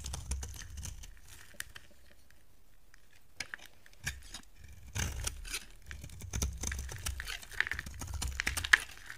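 A solid white soap bar held in the hand is carved with a utility knife blade, shaving off flakes. Dry, crisp scraping and crackling come in bursts, with a quiet stretch in the early middle. The cutting grows busier and sharper toward the end, with a few bright clicks.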